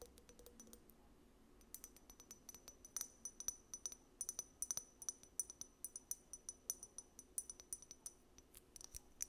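Long nails tap a small amber glass dropper bottle, which has a paper label and a dropper cap and appears filled, striking both the glass and the cap. Quiet, rapid clicks give way to dozens of sharp, bright taps with a short, high glassy ring, becoming louder and more frequent after the first couple of seconds.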